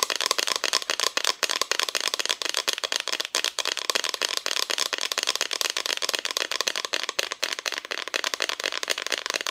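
Long nails rapidly tap the front of a flat, solid, painted wooden Christmas decoration cutout. The steady stream of crisp, dry clicks is bright and thin, with almost no low end and a faint tone near 1 kHz. Each tap dies away almost instantly.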